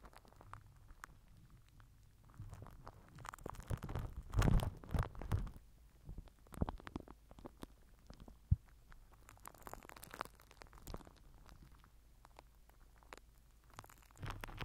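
A microphone head wrapped in crinkled purple plastic film is rubbed and pressed with the end of a plastic glue stick. The result is a close, low-heavy crinkling and rustling with many small, quick crackles. Louder bursts of scrunching come around the middle of the clip, with a sharp snap just after.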